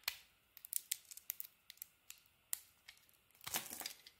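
A utility knife blade scrapes and carves the edges of a solid yellow soap bar with a purple coating, held in the hand. Seventeen short, crisp, bright scraping cuts are heard, each fading almost at once. They are quiet and separated by near silence, with a denser run of shaving near the end.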